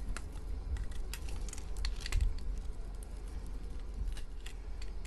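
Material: Soap.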